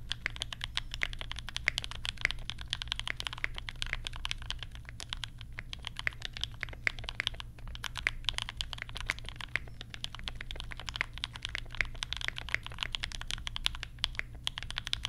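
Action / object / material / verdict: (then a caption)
tap / plastic mechanical keyboard / plastic / none. Both hands type with their fingertips on a compact mechanical keyboard with Banana Splits switches and pastel plastic keycaps. A steady, rapid stream of short, bright plastic clicks and clacks rings out, each one dying away almost instantly over a faint, constant low hum.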